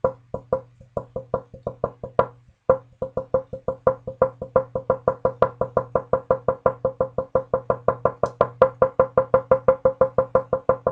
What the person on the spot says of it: the note coming out that is mostly ... a c-sharp which is kind of ideal